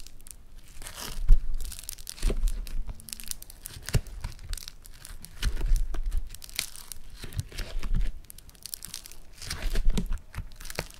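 A yellow lump of foam-bead clay is squeezed and torn open with the fingers of both hands. It gives off bursts of dense crackling, crinkling and tearing, with bright snaps and low, muffled thumps, swelling and fading over the clip.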